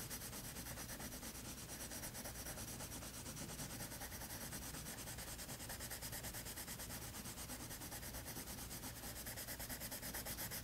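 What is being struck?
Colored pencil on toned paper sketchbook page.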